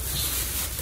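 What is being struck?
Nothing is struck.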